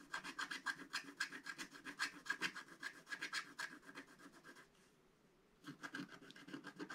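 A wooden stylus scratches the coating off a flat, black-coated scratch-art paper page in quick, repeated strokes, about four a second. The strokes sound dry and raspy with a faint tone around 1.6 kHz. They stop for about a second near the five-second mark, then resume.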